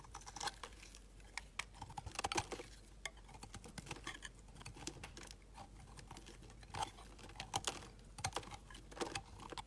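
An orange-yellow amber bar soap is cut into chunks and scraped with a utility knife blade. Short, crisp clicking and crackling cuts and scrapes come in quick irregular bursts, with bright edges over a faint low hum.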